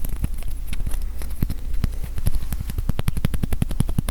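Rapid fingertip-style taps on a mini acrylic standee, a 1/3 inch thick slab of UV-printed acrylic that feels well made. The taps land as a quick, uneven series of short, dull low knocks that die away almost instantly, over a steady low hum.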